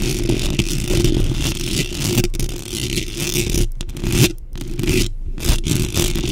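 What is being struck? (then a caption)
Metal mesh microphone grille. Long pink acrylic nails rapidly scratch and tap the round, hollow metal mesh grille of a large black microphone from both sides. The result is a dense, continuous scraping rasp with a heavy low, boomy rumble underneath, quick tapping, and a few brief sudden drops to near silence.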